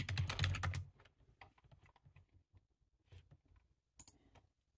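Fingertips type fast with both hands on a black, low-profile, hollow-bodied plastic computer keyboard resting on a table. A dense, loud flurry of key taps comes first, then gives way to quieter, scattered taps with short, low, hollow clacks and some bright clicks.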